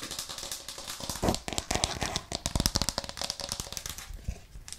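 Long nails and fingertips tap fast and hard on a white plastic cutting board with a green rim, held upright in both hands. Rapid, irregular, sharp plastic clicks and knocks run together, with bright nail ticks over duller thuds. Each tap dies out almost instantly.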